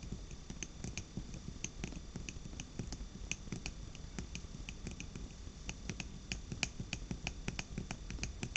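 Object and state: Glass jar candle.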